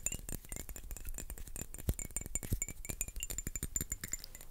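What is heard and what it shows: A small dark glass perfume bottle with a cap, apparently filled with liquid, is held in both hands and tapped and scratched with fingertips and nails. The result is a dense run of quick, dry taps and bright little clinks mixed with soft scratching, each sound dying away almost instantly.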